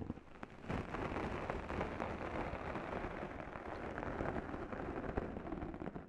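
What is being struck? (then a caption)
Foam microphone windscreen and abrasive sponge scourers. Two small sponge scourers with abrasive pads, one held in each long-nailed hand, scratch and rub the top and sides of a black foam microphone windscreen. A dense, continuous scratchy rustle with a heavy low rumble begins softly, then swells at under a second into a steady, crackling scrape that lasts to the end.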